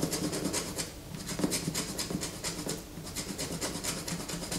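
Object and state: Bar of soap scraped with fingernails.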